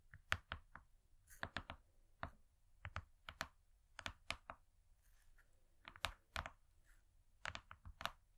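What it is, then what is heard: Gold foil cardboard cake board. Long nails tap rapidly on a thin, flat, gold-foil-laminated cardboard cake board. Quick, dry, clicky taps come in irregular clusters, each bright and crisp with almost no ring, over a quiet background.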